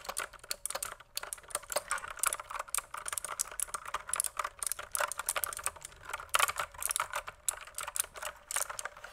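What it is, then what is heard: Plastic mechanical keyboard. A full-size pink plastic mechanical keyboard, held up toward the camera, is typed on with the fingertips in quick key presses. It gives a steady, rapid run of dozens of short, bright clacks that stop dead with almost no ring and carry little low end.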